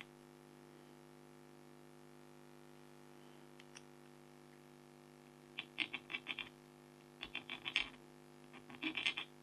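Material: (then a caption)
Coated card. A red-handled stylus scratches fur strokes into a flat, thin black-coated foil scratch art card with a tiger design, heard up close. After a quiet stretch with a steady low hum and a couple of faint ticks, three clusters of short, bright, dry scratches come in quick succession. Each stroke ends almost instantly.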